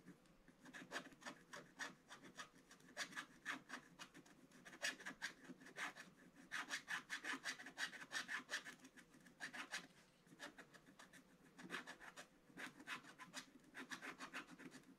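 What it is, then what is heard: Scratch-art paper being scratched. A wooden stylus scratches a calendar square on a flat, black-coated scratch-art paper page in steady scratching strokes. The rough, bright rasping comes in quick rhythmic bursts with a brief pause near the middle.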